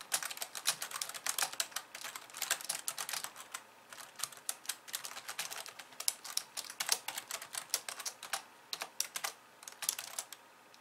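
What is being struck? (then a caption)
Plastic computer keyboard keys. Long polished nails type rapidly with both hands on the plastic keys of a compact pink and white plastic computer keyboard. It makes a dense, steady stream of sharp, bright clicks and taps that stop dead with no ring, with brief lulls between bursts.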